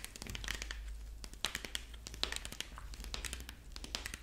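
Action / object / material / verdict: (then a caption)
scrape / corn husk figurine / corn husk / none. A dried corn husk rabbit figurine is held up while long fingernails on both hands scratch and squeeze its dry husk body. The result is a dense, continuous crinkling and crackling with sharp bright snaps scattered throughout, over a faint steady low hum.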